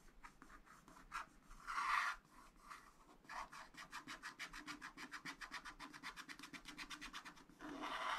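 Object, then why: Wax-coated scratch art paper scratched with a wooden stylus. A wooden stylus scratches and rubs in short strokes across a black wax-coated scratch art sheet in a flat spiral pad, filling in a building area. A few scattered scrapes and a louder, longer rub come first. Then a fast, even run of short, bright rasping strokes follows, and the clip ends in a sustained rub.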